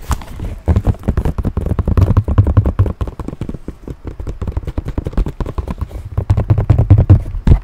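A small, structured, hollow tan leather handbag with brass buckles is held up and tapped and scratched with fingernails. It makes a rapid, irregular stream of soft, dull, low taps with short scratchy brushes between them. Each tap is a hollow-sounding thud that fades almost at once.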